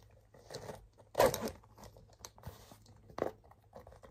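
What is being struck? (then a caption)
Leather handbag. Fingers tap and scratch the leather side panel of a cream and blue leather handbag with a tan leather buckle strap. The result is a string of quiet, dry, crunchy scrapes and soft taps, centred in the mid-range with brief high crackle. Each one dies away almost at once.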